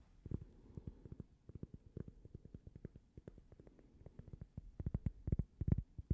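A small, thin, solid cork coaster shaped like a slice of toast is held up and tapped with long painted nails. The result is a quick, uneven run of dozens of soft, dull, low taps with almost no ring, growing louder and denser toward the end.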